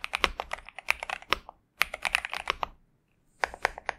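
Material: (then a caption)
Plastic. A pink and purple Xinmeng M71 65% mechanical keyboard with TTC Superman switches and plastic keycaps sits on a desk mat while both hands type continuously with their fingertips. The rapid keystrokes come as short, bright, crisp clacks with almost no ring, in three bursts separated by brief silent pauses.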